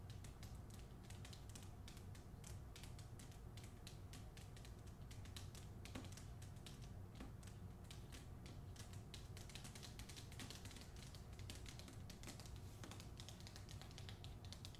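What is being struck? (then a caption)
Hardcover book with paper dust jacket. Long nails rapidly tap and scratch the front cover of a solid hardcover copy of "Olga Dies Dreaming," held upright in its glossy paper dust jacket. The result is a quiet, steady stream of dense, crisp clicks and scratchy rustles over a low rumble, with no pauses.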